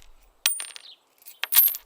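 Coins are dropped, giving two quick bursts of bright, high-pitched metallic clinking and jingling with short rattling tails, separated by a brief silence.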